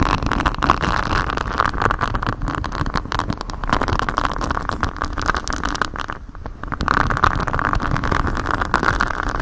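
Fingers in black knit gloves scratch and rub a flexible grey silicone cover with a honeycomb hexagon pattern, bent over a microphone. The result is a steady, dense, close-up scratching and rustling with a strong midrange band around 1 kHz and a muffled low rumble. It dips briefly near the six-second mark, then resumes just as intensely.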